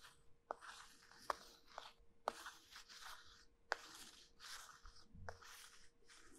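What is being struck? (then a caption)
Starch-coated soap bar. Two halves of a small, solid, cylindrical pink soap bar coated in starch are held in both hands with long white-painted nails, then pressed and rubbed against each other. The result is a dry, bright rubbing and sanding texture, broken by short, sharp crunchy clicks at irregular intervals.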